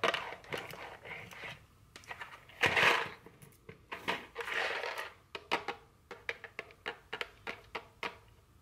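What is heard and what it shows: A small, full rectangular cardboard box of Buncha Crunch Dark chocolate candy, still sealed in plastic wrap, is tapped with very long curved fingernails, first on a table and then held in hand. Crinkly plastic rustles mix with sharp, bright clicking taps that fade quickly, turning into a steady run of crisp separate taps toward the end.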